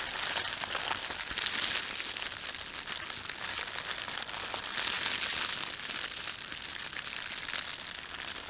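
Fingertips pinch and crumple a thin red-and-white printed plastic bakery bag, producing a steady, bright crinkling with dense crackles. The sound stays continuous for the whole clip, swelling slightly at moments, with almost nothing in the low end.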